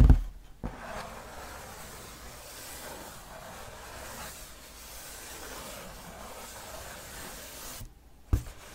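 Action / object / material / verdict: scrape / cardboard game box / cardboard / none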